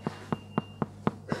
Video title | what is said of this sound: La tourte Auvergnate . | si ça sonne creux c'est que la tourte et bien cuites